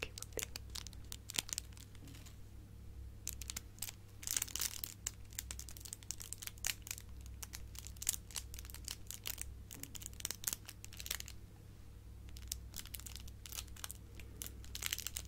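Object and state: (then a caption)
Metallic foil gift bow. A hand-sized silver metallic foil curly ribbon gift bow is crinkled and scratched by fingertips and long nails. Dense, bright, papery crackles and rustles come in quick bursts throughout, over a steady low hum.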